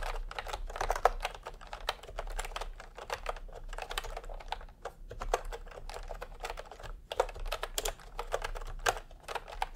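Fingertips type in continuous taps on a full-size plastic typewriter-style computer keyboard with round retro keycaps in peach and cream, lying on a white cloth. A dense, uneven stream of short, dry clacks centered in the midrange fills the clip, each tap dying away almost instantly over a faint steady low hum.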